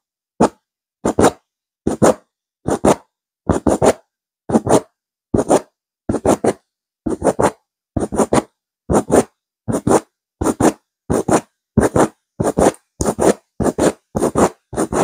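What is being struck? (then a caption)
Stuffed woven fabric pillow. Long nails scratch quickly across a soft, stuffed grey chevron-textured woven fabric pillow. The result is short, dry, raspy bursts of two or three strokes each, reaching up into bright high frequencies. The bursts repeat at an uneven pace with brief silences between them.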